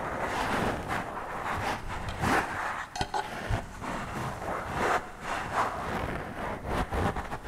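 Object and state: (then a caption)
Foam microphone windscreen being scratched. Long purple acrylic nails and fingertips scratch and rub directly on the round black foam windscreen of a handheld microphone, soft and porous. The result is a steady, dense scratchy rustle with a low rumble underneath, swelling in brief louder strokes over the continuous rubbing.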